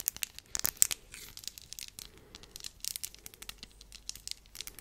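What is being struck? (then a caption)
Flat glass gems glued on a small wooden disc. Long nails tap and scratch over flat glass gems glued to a small round wooden board, held close up. The result is a quick series of bright, crisp clicks and scratchy crinkling with very little low end, each tap dying away almost instantly.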